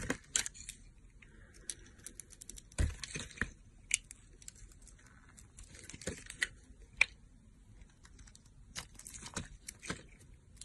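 A solid light-blue bar of soap held in the hand has its edges shaved and carved by the metal blade of a yellow-handled box cutter. Quiet, dry scraping and crisp, bright crackling cuts sound in irregular short bursts, with a few sharper snaps standing out.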